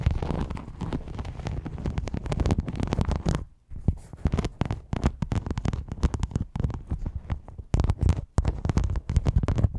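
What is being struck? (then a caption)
Metal rhinestone mesh sheet. Long yellow nails scratch the studded top of a thin, flexible silver rhinestone mesh sheet laid over a microphone. This makes a dense, low, rumbling scrape with rapid clicky crackles, breaking briefly into short pauses before resuming.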